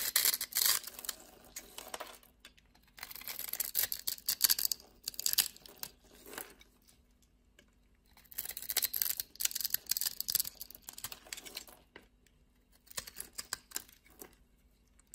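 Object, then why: Black soap bar cut with a blade. A utility knife blade cuts slices and shavings off a solid dark black soap bar, making crisp, bright scraping and shaving sounds. The cuts come in four separate bursts with quiet pauses between them, over a faint steady low hum.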